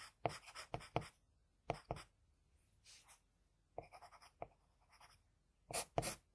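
A hand draws fine strokes on a flat sheet of drawing paper with the graphite tip of a wooden HB pencil. Short, dry, bright scratches come in quick clusters, separated by near-silent pauses and a softer, fainter stroke midway. The whole clip stays quiet and close.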